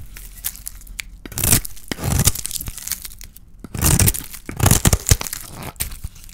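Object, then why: Painted bar of soap scraped with a metal blade. A small metal blade scrapes a palm-sized, solid oval bar of dry white soap with a pink painted shell, held in the hand, shaving off soap curls. Dry, crunchy scraping and tearing strokes come in bright, broadband bursts between quieter, crackly pauses.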